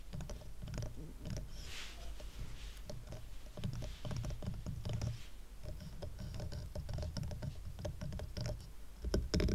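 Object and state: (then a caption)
Wooden coaster stack. Fingertips and nails tap and scratch the sides of a small rustic stack of dark solid wooden coasters tied with twine. The result is a quick, steady patter of soft, dull knocks with a heavy low end, short decay and light scratchy clicks.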